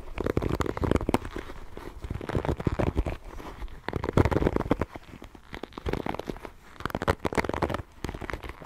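A small wooden paddle hairbrush with bristles and a solid wood handle and back is held close to the microphone while long painted fingernails scratch and tap its bristles and wooden body. The result is a dense run of crinkly, crackling scratches and quick dry taps. The sound is mostly low and muffled, with bursts of activity and quieter pauses.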